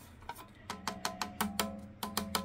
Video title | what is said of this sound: SMALLRIG Matte Box, Star-Trail Lightweight Multifunctional Modular Basic Kit, with 4 x 5.65 Filter | you hear that sound it sounds like cheap metal but it makes it lightweight